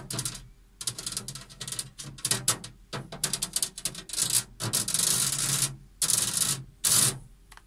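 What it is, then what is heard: Metal object tapped and scratched. An unspecified metallic object is tapped and scratched. Quick clusters of short, bright taps give way to longer rasping scratch strokes, with most of the sound in the high frequencies.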